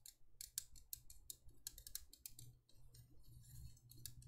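Long painted nails tap and scratch a small, empty, hollow cylindrical candle holder of thin embossed copper-toned metal with a swirl pattern and cutouts, held in both hands. Quick, dry, high clicks with almost no ring come in an irregular run, mixed with a bright scratchy rasp over a steady low hum.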